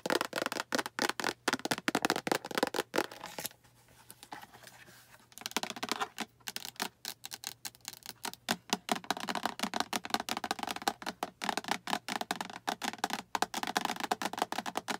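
Long acrylic nails tap rapidly on the sides and front of a small, hollow, translucent green plastic storage box with a latch handle that appears empty. The dry, clicky, hollow taps stop ringing almost at once. Around the fourth and fifth seconds the taps give way to a quieter scratchy rubbing, then the quick tapping resumes through to the end.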